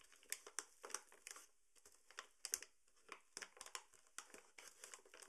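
A tall, partly full paper sugar bag is gripped and crinkled by hand at the top and along the side. A quiet series of short, bright, dry crinkles and crackles comes in uneven bursts with brief pauses, each snapping off almost at once.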